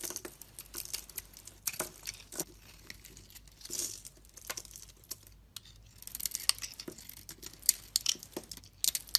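An oval solid bar of soap, painted silver with blue stripes and pink inside, is held in the hand and shaved and carved with a utility knife blade as pink soap flakes peel off. The blade makes a quiet, bright, crisp scraping and crackling in short, irregular strokes that come in clusters with brief pauses between them.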